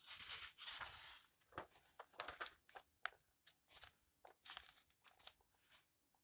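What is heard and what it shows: Fingertips with long painted nails smooth and turn the yellowed paper pages of an open old hardcover book lying on a table, one page at a time. The quiet clip is a run of short, crisp, bright papery rustles and crinkles with little low end, each dying away almost at once.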